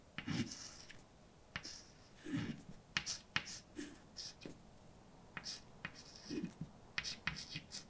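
A hand writes a line of text in white chalk across a large dark blackboard. Short, bright scratching strokes mix with sharp taps as the chalk meets the board, with brief quiet gaps between the words.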